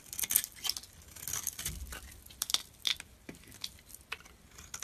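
A hand-held solid bar of soap with a blue glitter coating over a teal core is shaved with a metal utility-knife blade, sending flakes falling. Quiet, bright scraping and crisp crackly cuts come in short bursts, with a soft low thud in the middle.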